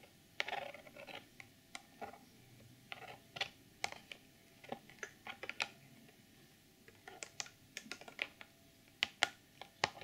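Long nails tap and scratch on the front face of a hollow, clear plastic retail box with a sequin pouch inside. The result is a quiet, irregular run of sharp, bright clicks that stop almost at once, with brief scratchy patches between them.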